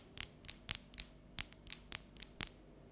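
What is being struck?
Dark chocolate bar.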